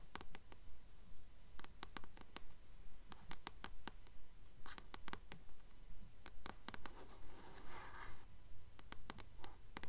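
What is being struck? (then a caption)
Paperback book, paper cover. Long nails tap and scratch the glossy front cover of a Titan's Curse paperback book held in both hands. Quick, bright clicks fall in a steady rhythm, broken up by a few softer scratching swells over a faint low hum.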